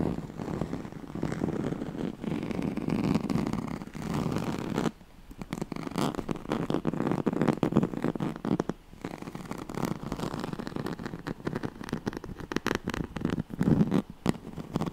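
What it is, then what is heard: Woven straw-like fabric mat. Fingernails of both hands scratch the ribbed surface of a yellow striped, woven oval pad, a straw-like fabric mat. The result is a dense, continuous scratching rasp centred in the low-mids, with brief pauses near 5 and 9 seconds before the scratching resumes.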